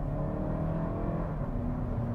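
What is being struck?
Nothing is struck.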